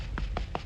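Three quick taps on the cement render of an extension's exterior back wall give short, hollow, low knocks. The hollow sound means the render is blown and has detached from the wall, so the whole back wall is to be hacked off and re-rendered.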